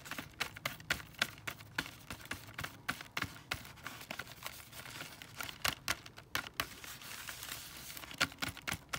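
A windowed cardboard box full of foil-wrapped chocolate Santas is tapped with fingertips and nails on its plastic windows and cardboard. The result is a quick, irregular run of short, dry taps and clicks with bright, papery crinkle, each dying away almost at once over faint background hiss.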